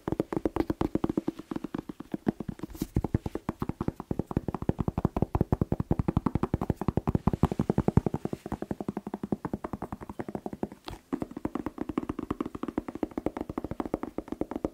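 A whole fresh red bell pepper, hollow inside, is held in one hand and tapped fast with the fingertips of the other. The result is a rapid, steady stream of short, dry, hollow thumps with a low resonant body and almost no ring, kept up for the whole clip with only brief pauses.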